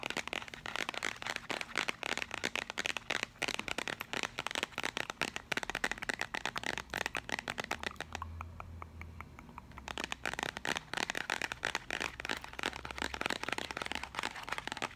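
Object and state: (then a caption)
Cardboard sugar canister. Long acrylic nails tap rapidly on the side of a paperboard sugar canister held in one hand, making dense, dry, bright clicks with almost no ring. The tapping runs steadily for most of the clip and pauses briefly near the middle, where a faint low hum shows through, before resuming.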